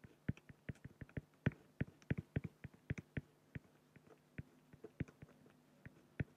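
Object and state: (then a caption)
Pen strokes on acrylic sheet. A fine-tip pen scratches hatching strokes near the bottom of a drawing on a large, flat, solid acrylic sheet. About 28 short, dry, quiet ticks and scrapes come in an irregular rhythm, each stopping almost instantly with no ring, over a faint steady low hum.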